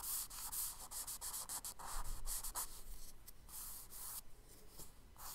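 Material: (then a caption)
Paper. A charcoal stick rubs and scratches diagonal lines across a tan kraft paper page of a spiral sketchbook with repeated quick strokes. Soft, dry, hissing scrapes come in fast, uneven bursts with bright, papery texture, separated by brief pauses.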